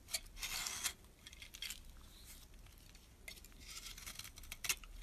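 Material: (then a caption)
Soap. A metal blade scrapes shavings off the end of a solid brown bar of soap. The sound is a bright, crisp scratching made of quick strokes, with a long, loud scrape near the start and another longer one toward the end. Quieter, scratchy passes fill the middle, and a sharp flick comes just before it stops.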